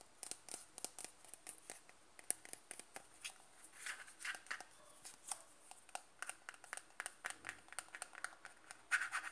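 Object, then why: Plastic cream jar. Fingertips tap and scratch the top and side of the lid on a closed white-and-blue plastic cream jar held in the hand. The result is a quiet, rapid series of short, dry, bright clicks mixed with faint scratching, with almost no low end and no ringing after each tap.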